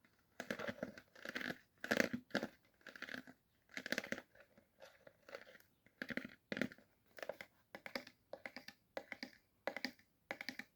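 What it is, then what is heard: Empty plastic juice bottle. An empty plastic apple juice bottle, already poured out, is tapped and handled for the sound of the plastic itself. Quick bursts of crinkly, crunching taps come in short clusters separated by brief pauses, with a bright, crackling edge and almost no low end.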